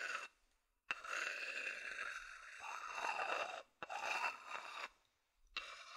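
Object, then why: Wooden bowl. A medium, hollow, empty wooden bowl held in the hand is scratched with the fingers and then with a wooden chopstick. Dry, bright scraping and scratching comes in long bursts separated by brief silences, with a faint ringing tone near 2.7 kHz and almost no low end.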